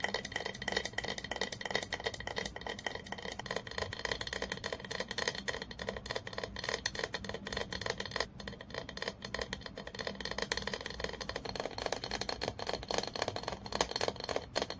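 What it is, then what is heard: Glass bottle tapped with nails. Long nails rapidly tap the side of a clear, apparently empty glass olive oil bottle held in the hand. The result is a steady, dense stream of quick, bright, clicky taps with a faint short glassy ring, each tap dying away almost instantly.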